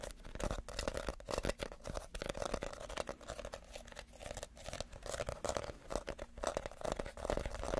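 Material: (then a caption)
Reed. A small, hollow, empty basket woven from reed is held up and scratched with fingernails across its woven outside. The result is a steady, dense run of dry, crinkly rasping and scraping, with a hollow mid-range tone running under the texture.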